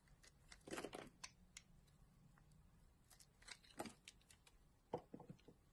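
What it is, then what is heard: Bar of soap scraped with a blade. A solid green bar of soap held in a hand is scraped with a utility knife blade and handled with long glittery nails. Short, dry scraping strokes and crisp ticking clicks come in scattered bursts over a soft, low background hiss, with the loudest scrape near the end.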